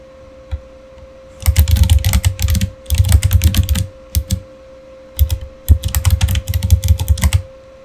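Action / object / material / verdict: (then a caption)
tap / plastic mechanical keyboard keys / plastic / none. Fingertips of both hands type on a Razer Fire mechanical keyboard with plastic keycaps and RGB backlighting, producing bursts of rapid, thocky clacks with deep low thumps. The typing comes in several runs separated by short pauses and a few isolated keystrokes. A steady faint hum sits underneath throughout.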